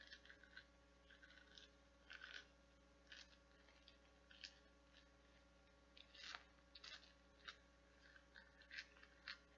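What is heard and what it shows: Long painted nails scratch the nubs and petals of a translucent blue nubbed silicone or plastic flower bath scrubber held in one hand. Quiet, bright, crackly scratching comes in short irregular bursts over a steady low hum.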